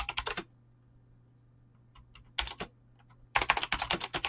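Fast typing with fingertips and short nails on a full-size mechanical keyboard with Razer clicky green switches and dyed PBT plastic keycaps, resting on a desk. Bright, crisp clicks come in three bursts: a quick flurry at the start, a short run at mid-clip after a pause with a few faint ticks, then a dense stream to the end. A steady low hum sits underneath throughout.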